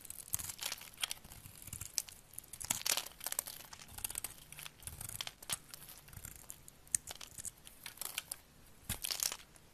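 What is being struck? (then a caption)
Glycerin soap bar cut with a knife blade. A solid amber translucent glycerin soap bar is held in the hand and scored and shaved into curls with a utility knife blade. The clip is a quiet run of bright, crisp scraping and crackling strokes, each short and dry with almost no ring. Louder cuts stand out here and there over a soft, continuous crinkling texture.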